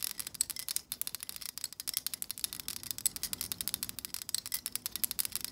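Long acrylic nails rapidly strum the long, stiff plastic bristles of a black plastic vent hair brush. The result is a quick run of about 34 dry, high, bright flicking clicks with almost no low end and no ring.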